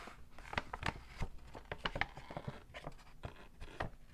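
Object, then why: Paper shopping bag. A medium-sized, hollow, empty white and pink printed Victoria's Secret paper shopping bag with rope handles, lying folded on a red textured mat, is handled, crinkled and tapped with fingertips and short painted nails. Quiet, crisp paper crinkles mix with sharp, bright taps and soft low thumps, each dying away almost at once.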